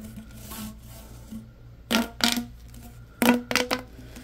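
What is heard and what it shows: A yellow, ribbed, hollow corrugated plastic tube is held horizontally while hands bend it, stretch it and rub its ridges. A soft, faint rustle gives way to short, bright, crackling ratchet-like bursts in two clusters, each snapping up loudly and fading quickly. A low steady tone sits underneath throughout.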